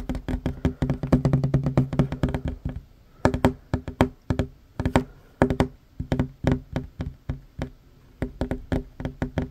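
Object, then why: Wooden tabletop. Short fingernails of one hand tap fast on a large, solid, worn wooden tabletop, producing quick dry knocks with a low, woody body and very short decay. A dense flurry of taps gives way after a brief pause to sparser, evenly spaced taps in small bursts, each dying away almost instantly.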